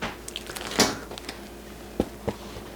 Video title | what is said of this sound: Meals & Camille - How to make bread in isolation. | Not quite hollow, maybe it could have done with a bit longer.